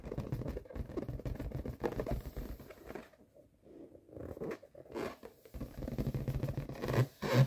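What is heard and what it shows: Fingertips and short nails tap and rub the surface of a large, inflated yellow latex balloon held against the lap. The hollow, air-filled balloon gives off soft, dull scratching and scraping with a low, muffled body and quick patter-like taps. The sound fades to a near-silent lull partway through, then resumes and ends with a couple of louder thumps.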